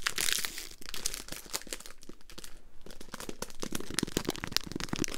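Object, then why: Foil-paper wrapper of a mint roll. A Polo mints pack in a foil-paper wrapper is crumpled and twisted in the hands, then tapped and scratched with long green nails. The result is a dense run of bright, sharp crinkles and crackles with short, dry taps mixed in.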